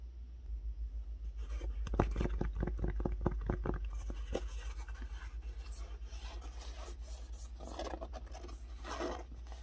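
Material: Fabric.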